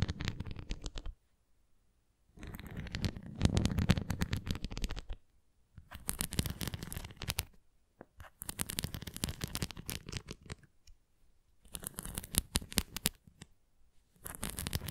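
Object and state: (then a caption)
Plastic flying disc scratched with nails. Long nails scratch and rake over the bumpy spokes and rim of a red plastic flying disc toy, making dense, rapid crackling and ticking scrapes. The scratching comes in six bursts separated by short silences. The sound is mostly low and rumbly, with bright, crisp edges on each stroke.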